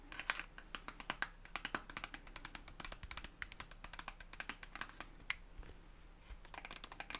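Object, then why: Soft plastic cosmetic tube. Long acrylic nails tap a red soft plastic cosmetic tube with a white cap, hollow and filled, in a quick, uneven run. The result is dozens of sharp, bright clicks that die away almost instantly, over a faint steady low hum.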